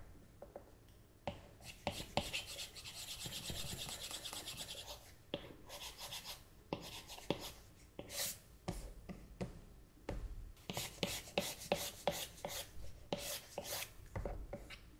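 A plastic stylus nib scratches, taps and rubs across the flat glass touchscreen of an iPad tablet while painting. Soft dry rasping strokes alternate with quick light clicks, and a sustained bright scratchy stretch runs from about 2 to 5 seconds.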